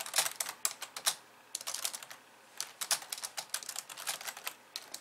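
Long polished nails type rapidly with both hands on the plastic keys of a compact pink and white plastic computer keyboard resting on a wooden desk. The result is a fast run of bright, dry clicks and taps with almost no low end. The typing pauses briefly twice before resuming in quick bursts.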